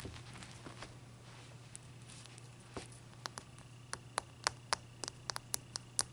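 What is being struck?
Block of ice tapped with fingernails.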